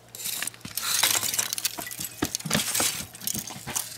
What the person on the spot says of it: that's the sound of pure pure charcoal